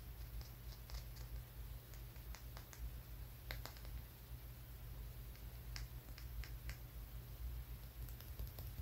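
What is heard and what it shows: A small, solid brown rock with a rough surface is held in one hand while the fingertips and nails of the other hand tap and scratch it. This makes quiet, scattered clicks and light scraping over a steady low hum.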